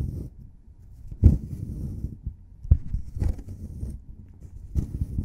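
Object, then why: Plaster block scraped with a metal pick. A solid plaster excavation block is chipped and scraped with a forked metal pick, and the plaster crumbles away. Low, muffled scraping and crumbling are broken by a few sharper chips that carry a brief bright edge.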